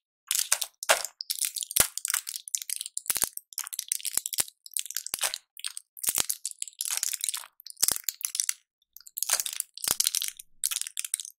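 A small flat blister pack of colorful pills or candies, clear plastic bubbles on a foil backing, is held in both latex-gloved hands and squeezed and crinkled close to the microphone. Bursts of bright, dry crunching and crackling from the plastic blisters come in quick clusters with short pauses, along with a few sharp clicks.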